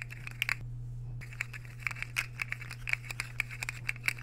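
Metal fork tines are scraped across the face of a white, square ceramic plate that is solid, empty, and held tilted. The result is a rapid series of short, bright, scratchy clicks and scrapes with a brief pause near the start, all over a steady low hum.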